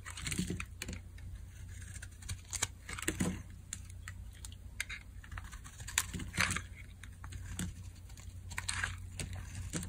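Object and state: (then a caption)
Dry bar soap being carved. A metal blade scrapes and carves curled dry shavings off a solid orange Dial bar of soap held in the hand. Crisp, bright scraping strokes and sharp cuts come in irregular bursts over a steady low hum.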